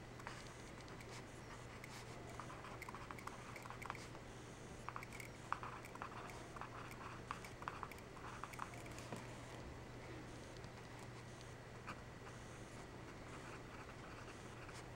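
A yellow wooden pencil writes math on an open, spiral-free notebook of thin graph paper, several pages thick, lying flat on a desk. The graphite tip makes quiet, short scratching strokes that come in soft bursts over a steady low hum.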